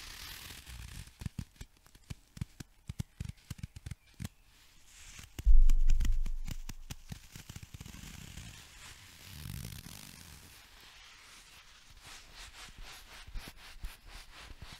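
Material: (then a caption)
Banana peel. A whole, unpeeled yellow banana is held right at the microphone while long nails scratch and tap its peel, then rub and turn it in the hands. Quick, uneven clicks and dry scrapes give way to a louder, muffled rubbing swell in the middle, then fade back into soft scratching and light taps.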